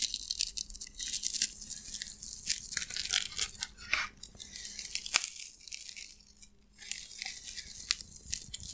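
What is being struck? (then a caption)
Expanded polystyrene foam slab. A white, elongated, solid slab of expanded polystyrene foam with a rough broken edge is held in both hands and pressed and cracked with the fingers. It makes a dense run of bright, dry, squeaky crackles and snaps with sharp peaks, and the crackling continues throughout with only a brief lull.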